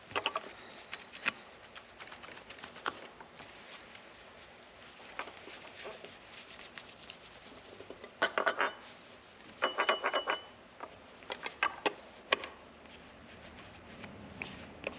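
A hand rubs and polishes a solid black, gloss-finished lacquered wooden electric guitar body with a yellow cloth, while the other hand steadies it as it lies flat on a rug with its pickguard removed. Quiet, bright swishing and rubbing runs throughout, with louder bursts of squeaky friction in the second half.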